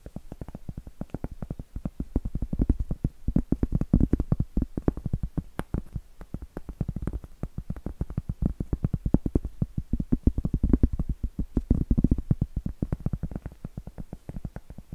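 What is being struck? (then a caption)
Round cork board. A large, round, solid cork board held upright is tapped and scratched with long acrylic nails. The result is a dense, continuous run of quick, soft, dull taps, heavy in the low end with almost no brightness. Each tap dies away almost at once, and the rhythm swells and thins over the clip.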